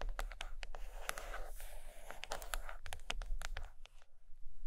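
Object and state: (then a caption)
Hardcover book cover. Long acrylic nails tap and scratch the glossy paper-laminated board cover of a large, closed hardcover book of drawings lying flat and solid on carpet. Many quick, dry clicks and scratchy rasps ring bright over a steady low rumble, each tap dying away almost at once.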